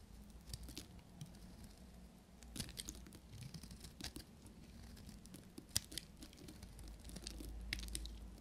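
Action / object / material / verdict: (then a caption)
scrape / bar of soap shaved with a small metal knife / soap / none. A solid, pale green dry soap bar with a cavity, held in the fingers, is shaved with a short metal knife into curling flakes. Quiet, dry, crisp scraping and crackling with bright, sharp ticks and a few louder snaps rises over a low, steady hum.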